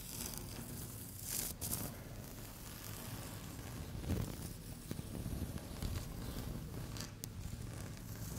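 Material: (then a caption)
Laminate. Long fingernails gently scratch and tap a solid, flat, speckled beige laminate tabletop. The result is a quiet, steady rustling scrape with a few brief, bright taps and clicks over a low, soft rumble.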